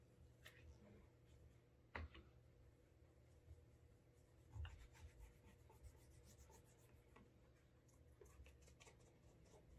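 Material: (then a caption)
Leather. A cloth wrapped over the fingers rubs the heel and toe of a brown leather Alden Straight Tip Blucher dress shoe to build a wax burnish. Quiet, soft, irregular rubbing and faint brushing sit over a steady low hum, with a couple of slightly louder soft thumps along the way.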